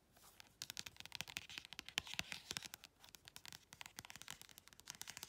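Long red nails scratch quickly across the glossy back cover of a small paperback colouring book, then along the paper page edges. The result is a quiet, rapid run of dry, bright, crackly scratches and ticks with almost no low end.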